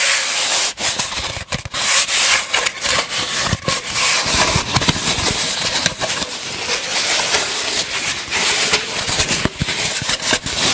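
A long, hollow, empty brown cardboard tube is held horizontally in front of the microphone and rubbed slowly with the fingertips and palms. A steady, bright, hissy scraping texture runs throughout, broken by brief dips where the hands shift, with little low end.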